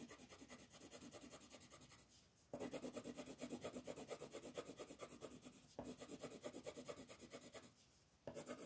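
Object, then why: Paper page rubbed with a wooden colored pencil. A yellow wooden colored pencil rubs across a thin, flat paper coloring page in broad shading strokes to fill in the sun area. A dry, scratchy rasp pulses rapidly and evenly, about twice per second, with two brief quiet pauses before the stroking resumes louder.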